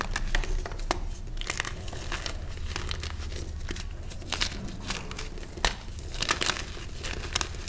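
Small solid purple reformed gym chalk (magnesium carbonate) chunks are squeezed and crumbled between bare fingertips and thumbs in a tray of loose chalk powder. A steady dry crinkling and crunching is heard, with many short, bright crackles and soft gritty rubbing over a low rumble. The pieces break apart into the powder.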